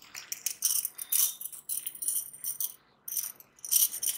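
A small stack of thin, solid metal bangles is held between blue-gloved fingers close to the microphone and shaken so the rings jingle against each other, with more bangles worn on both wrists. The sound is a series of bright, high clinking and shimmering bursts with almost no low end, each decaying quickly, separated by brief pauses.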